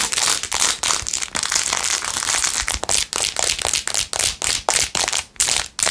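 Long nails scratch quickly across the back and edges of a blue-jeweled, rhinestone-covered plastic phone case. The sound is a bright, crackling rasp in rapid bursts, separated by short gaps near the end.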